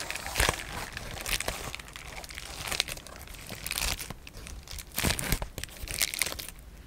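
A large, thin, flexible sheet of clear polyethylene bubble wrap is held up in both hands while fingertips with short painted nails crinkle and press it. The result is a run of bright, crackling crinkles and sharp little pops spread unevenly through the clip, with denser bursts and quick, dry decays.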